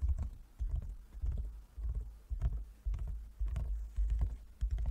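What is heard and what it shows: A large closed wooden folding chess board, a hollow box inlaid with light and dark squares, is tapped with the fingertips and long nails of both hands. The taps land in an uneven run of soft, hollow, low thumps, each with a faint click on top and a very short decay.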